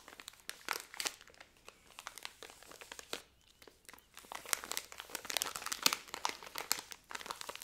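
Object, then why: Thin plastic biscuit wrapper. A full pack of Hobnobs biscuits in a thin plastic wrapper is held in both hands and crinkled and rubbed with fingertips and nails. Bright, sharp crackles come in dense bursts with short pauses, quiet overall and with almost no low end.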